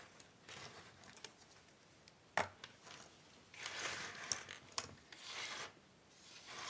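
Hands rub, spread and sort a large pile of small, thin cardboard jigsaw puzzle pieces on a wooden table. Soft, dry, bright rustling and shuffling swells and fades in waves, broken by a few sharp clicks as pieces knock together. There is almost no low end.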